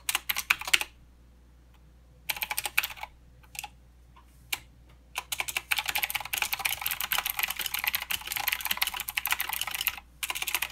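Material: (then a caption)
Plastic. Fingertip typing with both hands on a mechanical keyboard with plastic keycaps and clicky blue switches. Short bursts of sharp, bright clicks are separated by quiet pauses. From about halfway through, the typing becomes a fast, continuous clatter with only a brief break near the end.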